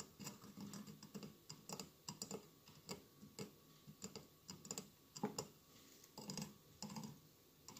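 Fingertips and nails tap the sides of a hollow glass mosaic votive candle holder with a lit candle inside. The quiet, irregular clusters of quick, clicky taps have a soft low body and bright, crisp tops, and each tap dies away almost at once.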